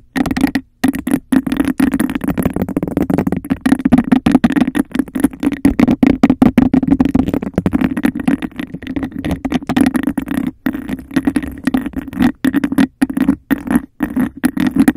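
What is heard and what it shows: A clear, textured glass cup held over a microphone is tapped on its base with a fingernail and scratched along its sides in a fast, aggressive rhythm. The result is a dense stream of quick, dry clicks and rasping scrapes over a hollow, boomy resonance near 270 Hz. Brief silent gaps break up the stream.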